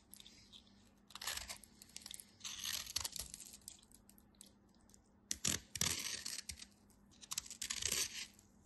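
A utility knife scrapes and slices along the edge of a solid white soap bar, giving bursts of bright, crisp scraping and crunching. Short rasping strokes alternate with quiet pauses over a faint steady low hum.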